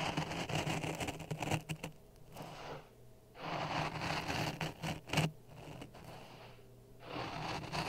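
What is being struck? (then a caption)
Dry sand in a plastic cup. A wooden stick is pushed and scraped through a layer of dry sand in a clear plastic cup resting on a red microphone. Gritty, grainy scraping comes in rough bursts with quieter pauses between them, giving a bright hiss over a steady low hum.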